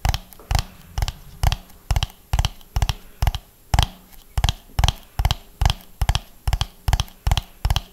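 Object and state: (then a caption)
Hollow ribbed plastic dome. A medium, hollow orange plastic dome with raised ridges is held in both hands close to the mic and tapped and scratched with fingernails. Short, dull, bass-heavy knocks come in quick double and triple clusters at a slow, loosely steady rhythm. Each knock dies away almost instantly with no ring, leaving faint scratchy hiss between the clusters.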